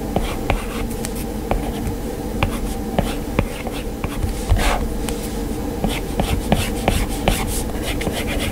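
An Apple Pencil's hard plastic tip scratches and taps across the glass touchscreen of an iPad lying flat with a drawing app open, making sketching strokes. Soft scratchy strokes are punctuated by sharp, bright clicks of the tip hitting the glass. A steady low buzzing hum runs underneath throughout.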